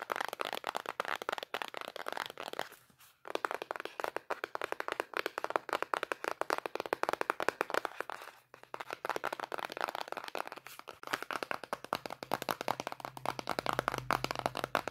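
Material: Cardboard.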